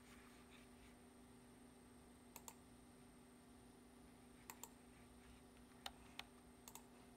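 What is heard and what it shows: Fingertips press the keys of a black plastic computer keyboard in typing taps, heard close up as short, sharp, dry clicks in irregular pairs and small clusters separated by pauses. A steady low hum and a faint high whine run underneath the whole clip.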